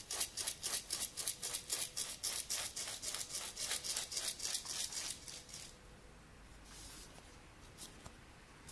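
A small round tin candle container with a white-and-grey diamond-patterned exterior and a teal lid, held in the hand, is scratched and tapped with fingernails along its side and lid. About twenty quick, bright, evenly spaced scratching strokes come at a steady rhythm. After about six seconds they fade to a quiet, faint rubbing with a few soft strokes.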